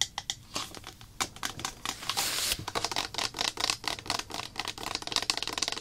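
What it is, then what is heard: Plastic bottle tapped and scratched with fingernails. Long black acrylic nails tap and scratch a small clear plastic slime activator bottle with a white cap and printed label, filled with liquid. Rapid, dry, bright clicks come in uneven bursts, broken by a short hissing scratch across the bottle body and label before the quick tapping resumes.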